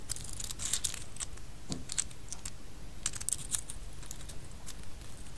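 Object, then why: Empty pistachio shells rubbed together in a palm. A small handful of light, hollow, empty pistachio shells rests in an open palm while the fingertips of the other hand stir and rub them. The shells click against each other in quick, dry, bright taps that die away almost at once, over a soft, steady low rumble.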